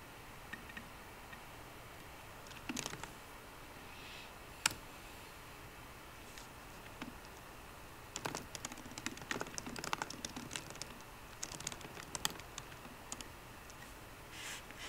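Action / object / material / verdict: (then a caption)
tap / laptop keyboard with plastic keys in an aluminium body / plastic, aluminium / none. Fingertips of both hands type on a 13-inch MacBook Pro keyboard with plastic keys in an aluminum body, the right hand resting near the trackpad at the start. A few scattered light clicks and one sharp tap come first, then quick, bright, clattering runs of keystrokes over a faint steady hiss. The clicks are short and dry, with almost no ring.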